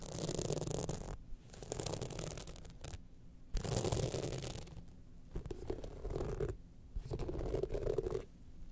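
Long nails scratch across the studded panel of a gold rhinestone-studded evening clutch bag held in hand. Dense, crackly scratching comes in bursts with short quiet gaps between passes. The rasping has a low rumbling body and a bright, gritty top.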